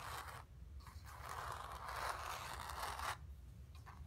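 Long nails scratch across the surface of a square, acrylic-painted stretched canvas on a wooden frame, hollow behind and resting on carpet. A dry, raspy scraping centered in the midrange runs almost continuously for about three seconds, with a brief dip near the half-second mark, then drops to fainter scratches over a low background rumble.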